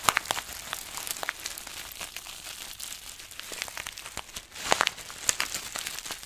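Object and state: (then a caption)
Plastic zip bag of small beads. A small clear plastic zip bag full of green granules is held in both hands while fingertips squeeze, crinkle and rub it. The result is a steady, bright plastic crinkling laced with dense crackles and sharp little clicks, with almost no low end. Louder bursts of crunching come at the start and again near the end.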